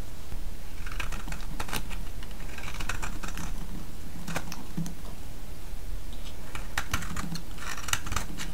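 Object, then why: Bar of soap. A solid yellow vintage soap bar, held in the hand, is shaved with a metal blade. It gives repeated crisp, bright scraping and crackling strokes in short bursts over a steady low hum.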